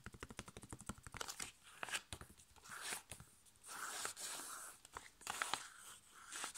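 A flat, sealed, foil-laminated plastic sachet holding a sheet face mask is tapped with fingertips and nails in a quick run of light, crisp ticks for about two seconds. It is then turned edge-on and crinkled, giving bright, papery crackles and rustling swells that come and go quietly to the end.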